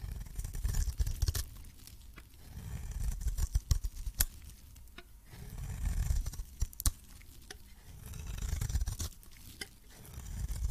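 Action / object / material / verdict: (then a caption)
scrape / coated soap bar / soap / none. A metal blade scrapes and cuts shavings off a hand-held pink solid soap bar with a purple coating. Low, rumbling scraping swells repeat in slow waves, broken by sharp, bright crackling snaps as the coating gives way.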